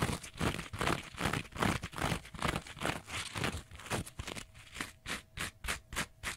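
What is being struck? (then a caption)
Kitchen sponge with abrasive scouring pad. Fingernails scratch the green abrasive scouring side of a small kitchen sponge. The scratching comes as a steady run of rough, bright rasping strokes. Toward the end the strokes turn shorter and crisper, with quiet gaps between them.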